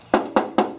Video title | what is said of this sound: How to Install Sound Assassin: Full Floor Package - Hothead Headliners | this Jeep sounds completely different when you knock on it it used to sound really Hollow